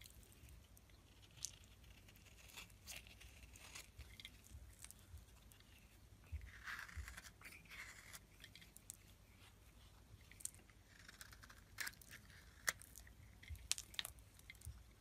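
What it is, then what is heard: Bar soap being shaved with a blade. A metal blade shaves curls off one end of a solid white rectangular bar of soap held in the hand. Quiet, dry scraping and crisp, bright clicks and crackles come in short bursts, with a few sharper snaps toward the end. Each sound dies away almost instantly.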